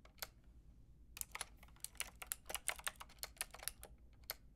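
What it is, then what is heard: Plastic mechanical keyboard being typed on. A white-and-pink Lofree mechanical keyboard with round plastic typewriter-style keycaps and a hollow plastic case is typed on with long painted nails and fingertips. One lone keystroke comes first, then after a short pause a quick, uneven run of about eighteen bright, sharp, dry clicks and clacks that stop instantly. A faint low hum sits underneath.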